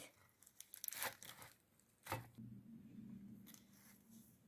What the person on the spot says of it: صدای کرنش رو شنیدیم ببین چطوره میبینی که داره پوسته پوسته میشه